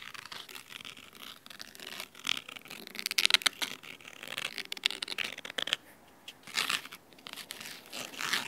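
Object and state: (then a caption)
Cloth-bound hardcover book scratched with fingernails. Fingernails of both hands scratch the red cloth spine of a large, thick, solid fabric-covered hardcover book. The result is dense, crisp, high, dry scratching in rapid bursts with no low end, dipping briefly quieter near the sixth second before swelling again.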